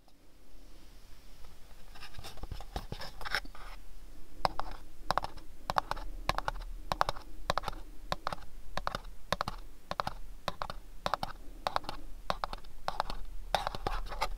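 Fingernails tap and scratch a small, hollow, house-shaped printed cardboard gift box, producing a steady run of quick, dry clicks and taps with short bursts of papery scratching between them. The taps are crisp with almost no ring and a mid-range hollow tone, over a constant faint low hum.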